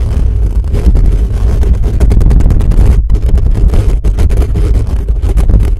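Fingertips and nails of both hands rapidly scratch a hollow metal mesh microphone grille. The result is a loud, dense, boomy rumble of fast scratching bursts, heavy in the lows, with a brief drop near the middle before it continues.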